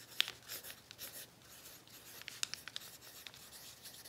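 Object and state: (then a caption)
Pencil writing on crinkled kraft paper. An orange pencil writes across a thin sheet of crinkled brown kraft paper lying flat. Soft, bright scratching and rustling strokes are heard, with a few sharper ticks standing out.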